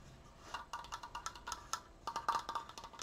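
Fingers tap quickly on a wooden Triforce decoration, producing a rapid, uneven run of short, dry knocks. The taps have a hollow, woodblock-like tone around 1.2 kHz with bright clicky edges. Each tap dies away almost at once, and the whole clip stays at a quiet level.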